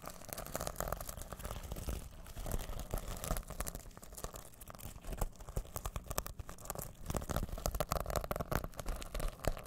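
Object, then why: Fabric pouch covered in plastic sequins. A small soft fabric pouch covered in rainbow plastic sequins is held close to the mic in both hands while fingertips and nails brush and scratch the reversible sequins back and forth. The result is a dense, steady stream of crinkly, rustling scratches with a heavy low rumble from the handling near the mic.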